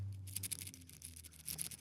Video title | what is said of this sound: You MUST See This Watch... | There's a little bit of a rattle. However, that's obviously when you're shaking it.